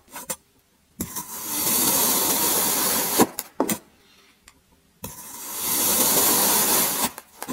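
A long serrated, grater-like metal blade slices and scrapes through a solid cylindrical block of packed grey kinetic sand resting on a white surface. Two sustained, bright, gritty crunching scrapes rise and hold, separated by short sharp taps and clicks from the blade.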